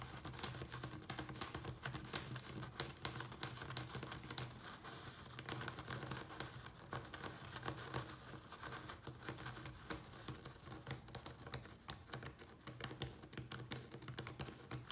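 A small brown plastic nursery pot filled with soil is tapped and scratched rapidly with the nails and fingertips of both hands, a larger white pot sitting untouched behind it. The result is a dense, continuous patter of short, dry clicks and crinkly scratches with bright edges and a faint low hum underneath, each tap dying away almost instantly.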